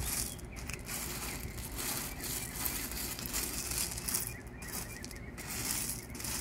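Gloved hands smooth and spread loose, small tan gravel landscape pebbles across a curved bed bordered by pavers. The result is a steady, gritty rubbing and scraping crunch of shifting stones, with bright crackly detail over a low rumble throughout.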